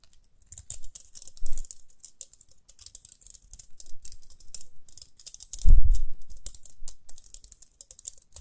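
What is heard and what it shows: Long nails flick and scratch the toothed rim of a small round pink plastic hair brush with dark bristles, held close to the face. Rapid, dry, bright clicks and scratches patter irregularly throughout, with a louder, low, muffled bump near the middle.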